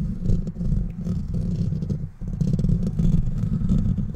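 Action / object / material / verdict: scrape / metal wire-mesh microphone grille / metal mesh / none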